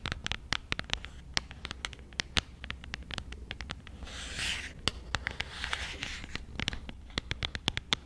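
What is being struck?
Small cardboard box tapped and scratched with fingernails.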